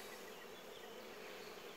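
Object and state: Nothing is struck.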